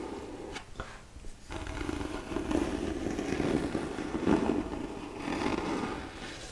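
Long manicured nails rub slowly across the cover of a solid, medium-sized black hardcover book held upright in both hands. A soft, scratchy scraping with a muffled low-mid body dips briefly near the start, then continues as a steady textured rasp that swells slightly toward the end.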